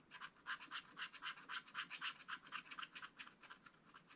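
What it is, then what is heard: Scratch-art paper being scratched. A wooden stylus scratches the tree-trunk area of a flat, spiral-bound scratch-art pad of black-coated card. It makes a quick series of dry, bright scraping strokes, about four per second. The strokes are short, uneven hisses concentrated in the high range, with almost nothing below 1 kHz.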